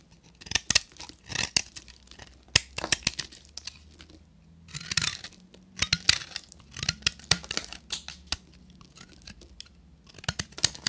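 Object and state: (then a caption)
Dry bar soap. A solid beige bar of dry soap with a copper-painted crust is held in the hand and shaved with a short metal knife into chunky flakes. Crisp, bright scraping and crackling bursts come in quick clusters with brief pauses between, each cut snapping off dry and sharp with no ring. A faint low hum sits underneath.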